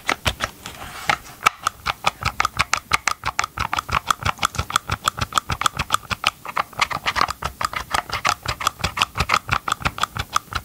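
Gloved fingers tap rapidly on the green and gray hollow plastic housing of a Ryobi chainsaw held close to the mic. About sixty short, dry, hollow clicks in a quick, uneven rhythm, each with a bright plastic knock centered near 1.3 kHz and almost no ring.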